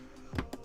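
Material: Plastic.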